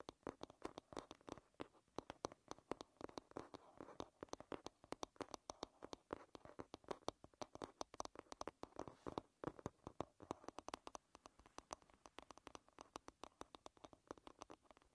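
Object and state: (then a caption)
Wooden hairbrush back tapped with nails. Long red-painted nails rapidly tap and scratch the smooth, solid wooden back of an oval wooden paddle hairbrush lying bristles down. The quiet, dry, clicky taps come in dense, irregular bursts, centred in the mid-range with bright edges, and each dies away almost instantly. Soft scratching fills the gaps between taps.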